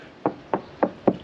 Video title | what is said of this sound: #87 Découverte des Saintes | c'est normal que ça sonne pas creux il y a la cloison derrière